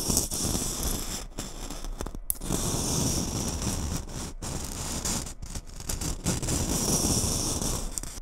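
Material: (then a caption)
Glitter. A gold glitter Christmas bauble is held over a microphone while long nails tap and scratch across its surface. The result is a dense, continuous crackle and scrape, with rough low rumble beneath a bright, hissing glitter texture and brief dropouts where the nails lift.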